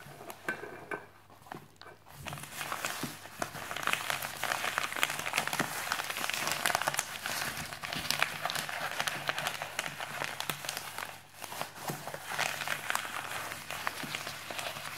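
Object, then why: Polythene mailing bag with a parcel inside. A white printed musicMagpie polythene mailer with a parcel inside lies flat on a wooden desk while the fingertips and nails of both hands tap and scratch its surface. The result is a dense, bright stream of crinkling, crackling plastic and quick taps. A steady low hum runs underneath, and the sound drops briefly quiet near the start and again around the eleventh second.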